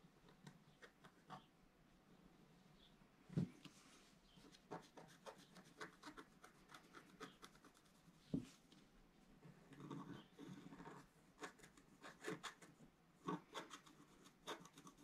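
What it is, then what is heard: Scratch-art paper being scraped. A wooden stylus scrapes circular strokes across a flat black-coated scratch-art card resting on a table, revealing a planet ring. Quiet, dry, papery scratching comes in short, uneven strokes, with a couple of sharper taps standing out along the way.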